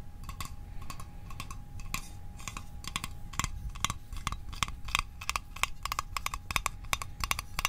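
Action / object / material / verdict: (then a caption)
tap / small metal mint tin / thin metal / none. A small, hollow, rectangular printed metal Altoids Arctic mint tin is held and tapped on top with the fingertips and short nails. It gives a quick run of light, bright, tinny clicks with a short metallic ping around 1.1 kHz that dies away almost at once. A low background rumble and a faint steady tone sit underneath.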